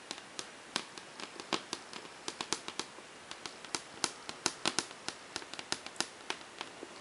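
Long painted fingernails on a hand wearing metal rings tap rapidly on a large, flat, glossy whiteboard panel. About 31 sharp, bright clicks come at an irregular pace, each dying away almost instantly over a faint steady hiss.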